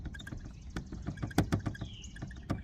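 Loose plastic trim on the hatch of a Mazda CX-90 SUV is moved by hand, producing a quick series of light, dull plastic rattles and ticks with low-pitched body and a few sharper clicks. This rattle is a little quieter; the loose trim, which started rattling when the wind caught it, is to be bonded with clear silicone so it stops vibrating.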